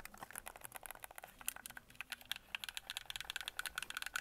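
A handheld white and red hollow plastic Xbox Series game controller has its buttons pressed and its shell tapped by fingertips and nails. About 24 quick, dry clicks and taps sound in a rapid, uneven stream. Each is bright with almost no low end and no ring.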